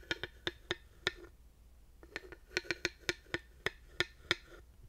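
A thin wooden dowel held upright taps down onto the ridges of a solid, grooved wooden panel, making 14 short, dry clicks with a hollow tone near 350 Hz and bright upper overtones. The taps die away almost instantly, with a brief pause after the first five before the tapping resumes in an uneven rhythm.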